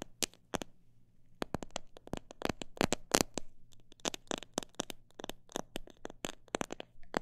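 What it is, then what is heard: Plastic seed bottle tapped. A fingernail taps on a plastic bottle that holds parrot seed, making a long, uneven run of sharp, dry clicks that speed up and slow down. The clicks are crisp and bright, stop almost instantly, and sit over a faint, steady low hum.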